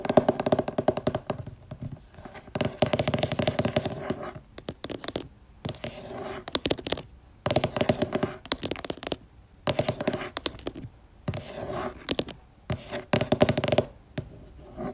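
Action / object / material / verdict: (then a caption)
tap / laminated cardboard board book / cardboard / none. Long nails tap and scratch across the glossy, thick laminated cardboard cover of a purple board book lying flat and solid. Quick bursts of crisp tapping and scratchy strokes alternate with brief pauses, and each tap dies away almost at once.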